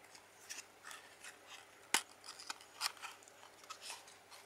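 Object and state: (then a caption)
Cardboard playing card box. A small, hollow printed Coca-Cola cardboard playing card box is held and opened by fingertips with red-painted nails, its flaps rubbed and bent. About ten soft, bright, dry scratching and rustling bursts are heard, with one sharp, crisp snap near the middle that rings only briefly.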